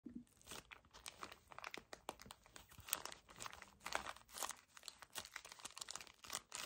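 A full, small, soft pocket pack of 10 paper tissues in a thin crinkly plastic wrapper is gripped and squeezed by fingertips with short painted nails. The result is a rapid, continuous stream of bright, crisp plastic crinkling and crunching with little low end, rising and falling in quick bursts.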